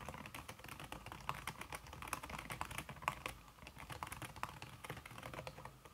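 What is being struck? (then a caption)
Slim aluminium keyboard with silicone key cover. Fingertips with long red-painted nails type fast on a slim backlit Apple-style aluminum keyboard whose plastic keys sit under a red silicone skin. A steady, dense stream of soft, muted key taps follows, each a short dry click centered around 1 kHz with a little high brightness and almost no ring.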